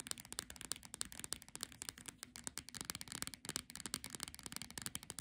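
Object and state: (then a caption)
Paperback book with glossy cover. Long nails quickly tap and scratch the glossy cover of a solid paperback Monet picnic book. A dense run of sharp, dry, bright clicks mixes with scratchy rasps, and each tap dies away almost at once over a faint low tone.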